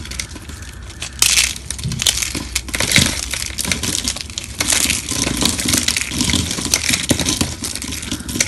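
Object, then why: Thin soap sheets and shavings. Both hands, fingertips and short nails, squeeze and crush a pile of thin, solid, dry pink soap sheets and shavings on a marble surface, then rub the brittle fragments. Dense, bright crunching and crackling is heard throughout, with louder bursts of crushing rising over a continuous gritty rustle.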